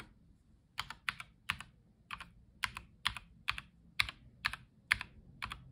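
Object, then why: Plastic mechanical keyboard keys. A black-gloved fingertip presses keys along the bottom rows, including Shift, Z and Ctrl, of a white tenkeyless Logitech G715 Lightspeed mechanical keyboard with plastic keycaps. Short, bright plastic clacks come at an uneven typing pace, each a quick double click that dies away almost instantly over a faint low background.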